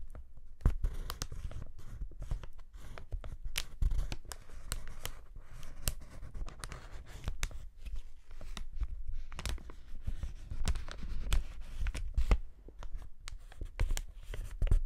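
A partly deflated sheet of clear polyethylene air-pillow packaging is held right against a microphone and rubbed and pressed by gloved fingertips. The result is close, dense crinkling with frequent sharp crackles and snaps over a heavy low rumble, which swells and fades throughout.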